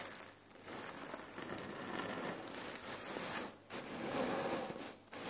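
Hands squeeze a full red cotton neck pillow filled with cherry pits, then long nails scratch and tap the fabric. The result is a steady, dense crunching and gritty rustle of shifting pits, broad and bright with little low end, broken by two brief quiet gaps.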